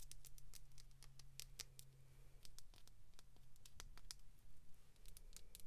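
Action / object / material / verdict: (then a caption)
tap / small plastic toy capsule ball / plastic / none. A small hollow clear plastic capsule ball filled with pink glitter is tapped and scratched with long pink acrylic nails. Quick, sharp plastic clicks and light scratchy ticks patter irregularly in bright, brief bursts. A quiet low hum sits steadily underneath.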